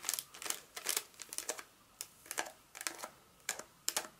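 Long acrylic nails tap and scratch a solid Hershey's milk chocolate bar in its paper wrapper, held in the palm, first on the back and then on the front. The result is a quick, irregular series of sharp, dry, bright clicks and scratchy ticks, each dying away almost instantly, with no low-end weight.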